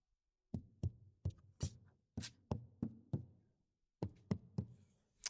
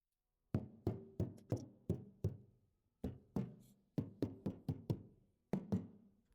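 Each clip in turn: First: damped car door panel. Second: untreated car door panel, tinny.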